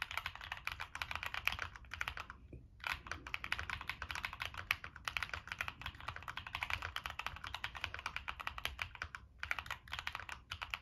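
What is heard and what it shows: Fingertips type continuously on a Monsgeek M1 mechanical keyboard with a black aluminum case, plastic keycaps and NK Cream switches. The result is a rapid, steady stream of short, bright clacks centered in the upper mids, with brief pauses near 2.6 and 9.3 seconds and almost no ring after each keystroke.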